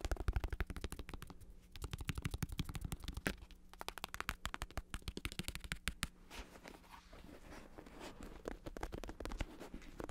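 A black, padded, vinyl-covered bicycle saddle with a textured synthetic leather cover is held in hand while fingertips and nails tap and scratch rapidly across it. Quick, dry, irregular taps with a dull low thump and short clicky tops run continuously, with no ring after each hit. Softer scratching rasps fill the gaps, especially in the second half.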